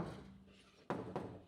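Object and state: Sound-deadened van door panel, damped.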